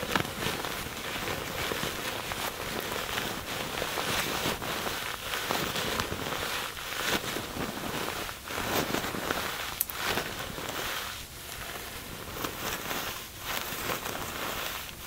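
A crumpled sheet of thin, soft white tissue paper, loosely bunched and held in both hands over a wooden table, is squeezed and crinkled by the fingertips. It produces a steady, dense, bright crackling that swells and dips, with a few sharper crinkles standing out.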